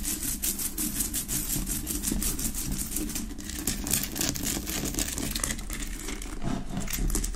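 Fingertips and long nails tap and scratch quickly on the sides of a large solid Himalayan rock-salt lamp with a rough pale pink crystal surface, set on a wooden base. The sound is a dense, steady stream of dry clicks and bright, gritty scraping over a low, muffled rumble.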